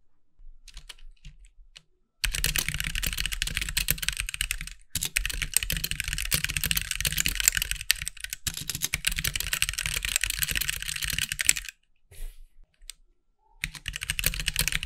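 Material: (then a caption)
Plastic. Fingertips of both hands type on a compact backlit mechanical keyboard with white plastic keycaps, producing dense, bright, clicky keystrokes with a low thump beneath. Sparse light taps open the clip, then continuous fast typing runs with brief pauses around five seconds and twelve seconds before resuming.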